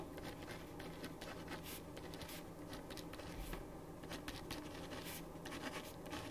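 A ballpoint pen writes on a thin printed paper sheet lying flat on a wooden desk, making continuous scratching strokes. Soft, bright scratchy bursts come and go over a steady low hum, and the overall level stays quiet and even throughout.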